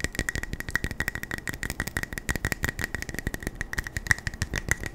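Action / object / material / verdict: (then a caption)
tap / small metal tin / metal / none. Fingers tap fast and aggressively on a small metal beard balm tin, producing a dense string of short, rattling taps. Each tap dies away almost instantly, and a steady ring sits just under 2 kHz.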